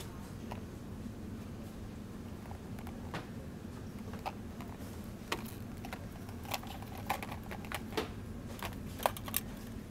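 Fingertips with long dark-painted nails tap and handle a small, clear, hard plastic blister pack with a cardboard back, holding two MAM night soothers on a shop shelf. Sharp, brief plastic clicks and taps scatter over a steady low hum, growing more frequent and louder toward the end.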